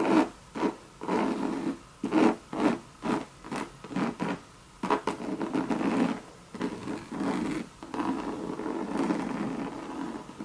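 Long red nails scratch the hollow monogram coated-canvas body of a Louis Vuitton bucket bag, making a series of short, separate scraping strokes. These give way to longer, continuous rubbing, with a dry, mid-toned scratch centred in the low-mid range and little deep bass.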